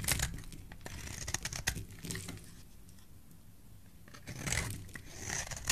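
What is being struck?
Soap bar.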